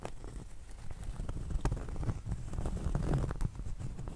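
Long acrylic nails tap and scratch the edge of a round, solid cork trivet about 20 cm across held in the hand, then move to its flat face. The result is a steady stream of soft, dull, low taps and rough scratching with no ring after each touch.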